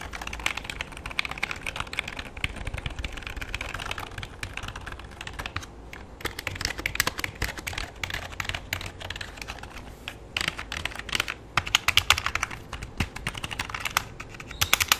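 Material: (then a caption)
Plastic. Fingertips type and tap on the keys of a full-size black plastic computer keyboard with a hollow body, tilted on the lap. Dense, bright plastic clicks run steadily for the whole clip with very short decay, growing into louder bursts near the end.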